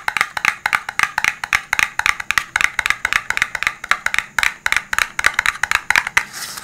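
Fingertips tap rapidly on a rigid, hollow, dark blue printed cardboard smartphone box held above the microphone. About three dozen short, dry, hollow taps have a bright, boxy ring near 1.9 kHz and almost no low end. The clip closes with a softer, hissy brushing.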